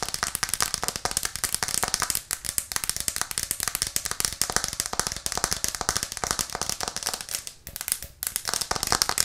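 Long nails tap rapidly on a white plastic cutting board with green edges, held upright in both hands. The result is a dense, steady stream of sharp, bright clicks with almost no low end, each dying away instantly, broken only by brief pauses near the middle and toward the end.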